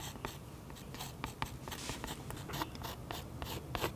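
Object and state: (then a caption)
Pen tip scratching into oil pastel on paper. A fine pen tip scratches curly cloud lines into a thick, waxy oil pastel coating on a sketchbook page resting on a solid flat surface, recorded close up. A steady run of short, dry scratching strokes comes through as bright, hissy bursts over a low, soft rumble.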